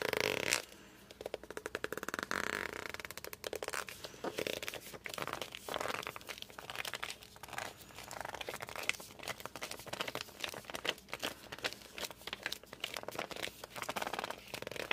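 Fingertips and thumbs press and grip the glossy cover of a hardcover book, making it squeak. A loud bright burst opens the clip, then a steady run of short, high squeaks and sticky rubbing sounds follows with almost no low end.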